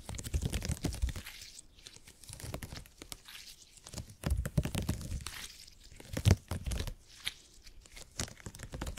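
A folded piece of purple gel grid cushion, made of hyper-elastic polymer, is squeezed and pressed with the fingertips. It gives off bursts of sticky, crackling crinkles and soft tearing pops over low, dull squishes, coming in clusters with short quiet gaps between them.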